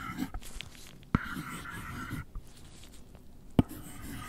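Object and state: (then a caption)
Cardboard box tapped and scratched. A gloved hand scratches and taps the lid of a closed, long, flat white cardboard product box, hollow and apparently empty, lying on a fluffy rug, using the plastic tip of an Apple Pencil. Soft, low, papery scratching runs throughout, broken by two sharp, dry taps that stop almost instantly.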